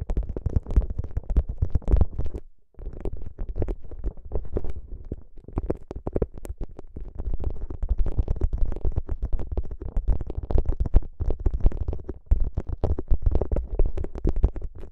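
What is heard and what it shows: Fingertips press, squeeze and rub a soft, flexible gel bead ice pack, a clear plastic pouch filled with green gel beads, draped over the microphone. A dense stream of muffled, deep squishing and crackling comes through, heavy in low rumble with almost no brightness. Brief quiet gaps fall near the start and again late in the clip.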